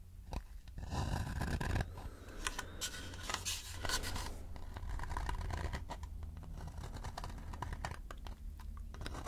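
A shallow, hollow wooden bowl is held and tilted while fingertips scratch and tap its rim and outer wall. The result is a dense run of dry, scratchy rasps and quick taps with a faint hollow tone near 1 kHz over a steady low rumble. Each tap dies away almost at once.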